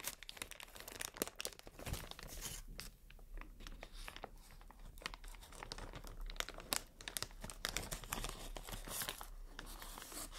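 An inflated, hollow, air-filled strip of clear plastic air cushion packaging is held in both hands while long nails scratch, squeeze and crinkle it. The result is a steady, quiet stream of dense crinkling and scratching with frequent sharp, bright ticks and crackles that stop almost instantly.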